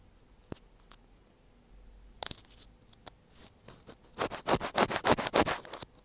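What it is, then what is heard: Plastic earphone inline mic scratched. The tip of a thin black pointed tool scratches the small, hollow white plastic housing of an earphone inline mic on its cable. A few sharp, isolated ticks and scrapes come first. Then a fast, rhythmic run of loud, bright scratching strokes follows toward the end.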